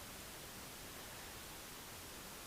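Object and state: Nothing is struck.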